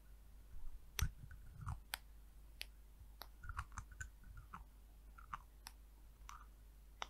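A small amber glass hair oil vial with an orange cap is held in one hand while long nails tap and click on the cap and neck. The result is a quiet series of short, sharp, bright clicks with soft dull taps in between, over a low steady hum.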